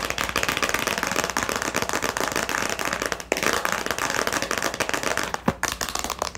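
Long nails rapidly tap and scratch a small, hollow clear plastic storage box with a latch, partly filled with a pen and labels. The result is a dense, continuous stream of bright, crisp plastic clicks and scratchy rustling with almost no low end, broken by a few sharper taps.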